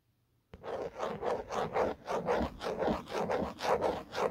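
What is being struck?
Hard plastic phone case.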